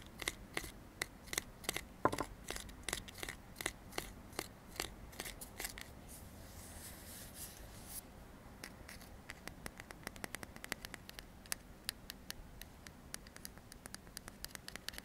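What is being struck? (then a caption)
Metal aerosol can. Fingertips tap and scratch along the printed metal body of a hand-sized, hollow, pressurized aerosol deodorant can with a blue plastic cap, held in both hands. Evenly spaced, sharp, dry clicks ring only briefly and give way to a soft, hissy scraping in the middle. Quicker, lighter taps follow, and the whole clip stays quiet and bright.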